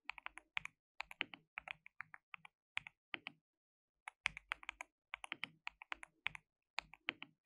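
Fingertips rapidly type on a white, RGB-backlit compact mechanical keyboard with plastic keycaps and a hollow case. About forty short, dry, bright clacks centered near 2.4 kHz come in quick bursts, with almost no low end and a brief pause near the middle.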